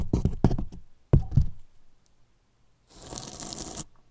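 Two thin paintbrushes scratch and brush the top edge of a large, hollow white polyethylene foam box with a microphone inside. Two quick bursts of deep, knocking scratches sound at the start, followed by a pause and then a steady, bright brushing swish that stops abruptly.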